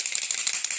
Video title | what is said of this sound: MASTERCLASS MAKEUP #2 Les fonds de teint Younique 🖌 | il faut le secouer vous avez une bille à l'intérieur je pense que vous entendez